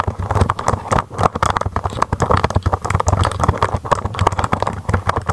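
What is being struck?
Plastic mechanical keyboard.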